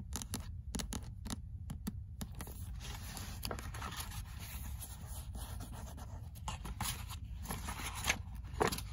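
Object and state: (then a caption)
Paperback book. Fingernails tap the cover of a paperback copy of "Critique de la raison dialectique" in quick, bright clicks, with a bead bracelet on the wrist. The pages are then opened and scratched, giving a steady, rustling scrape over a low rumble.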